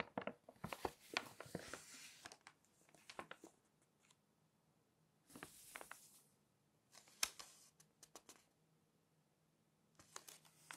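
Fingertips and long nails slide over and lift the coated pages of an open glossy magazine to flip them. Bright, crisp rustles and sharp little ticks come in bursts, separated by quiet stretches with a faint low hum.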